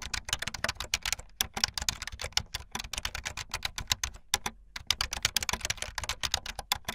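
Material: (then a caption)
Plastic. Fingertips with long light-blue nails type fast on a full-size plastic keyboard with white, blue and yellow plastic keycaps and a blue backlit frame. The result is a rapid stream of bright, dry, clicky keystrokes that stop almost instantly, with brief pauses near 1.3 and 4.5 seconds.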